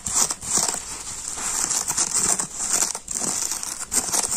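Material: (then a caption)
Polyurethane foam. A palm-sized teal polyurethane foam sponge with a green abrasive scouring layer, soft, porous and damp with soap suds, is held in both hands while fingertips and short nails scratch and rub the scouring side, then squeeze it. The result is a dense, continuous crinkling and scratching with a bright, hissy edge, rising and falling in uneven bursts with brief dips between strokes.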